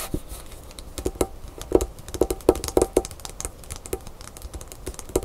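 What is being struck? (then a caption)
Paper envelope on a wooden table. Long pink fingernails on both hands tap quickly on a small, flat white paper envelope or card lying on a wooden table. The result is a fast, uneven run of short, dry clicks with a papery mid-range body and bright tips, some taps landing louder than others, each dying away almost instantly.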